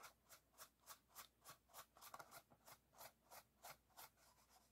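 An empty clear PET plastic water bottle, held in one hand, has its ribbed side and bottom brushed with a small paintbrush. The result is a steady series of soft, bright, scratchy brushing strokes, about three per second, with a few quicker rustles near the middle and quieter strokes at the end.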